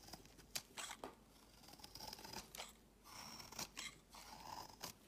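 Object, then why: Bar of soap scraped with a knife blade. A palm-sized solid pale green bar of soap is held in hand while a utility knife blade repeatedly scrapes crumbly shavings off its edge. Crisp, bright scraping strokes come in irregular bursts, with sharp short clicks between them.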